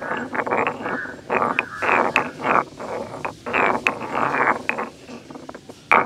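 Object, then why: Stone mortar and pestle. A solid stone pestle is lifted and pounded into a medium grey carved stone hollow mortar, then ground around the bowl by hand. Sharp stone-on-stone knocks alternate with rough, gritty scraping bursts that are bright in the midrange with little low end, and each hit rings only briefly.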